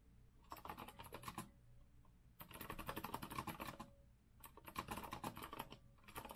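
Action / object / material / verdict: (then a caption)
tap / metal-frame mechanical keyboard with round keycaps / metal, plastic / none. An Azio retro mechanical keyboard with a metal frame and round keycaps is typed on by both hands' fingertips. Three bursts of rapid, uneven key taps, each a bright clack with a low thud beneath it, are separated by short quiet pauses.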